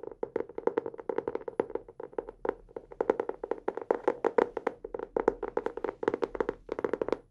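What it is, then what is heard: Hardcover notebook tapped. A teal hardcover notebook held upright in both hands is tapped quickly on its cover with fingertips and nails. The result is a rapid, uneven stream of short, dry taps with a hollow mid-range tone around 450 Hz and brighter clicky edges. Each tap dies away almost at once.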